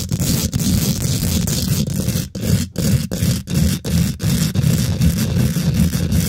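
Fingernails scratch and tap fast on a hollow steel mesh microphone grille. The sound is a loud, dense, bass-heavy rasp with a faint bright hiss. Short gaps break it into quick, uneven bursts.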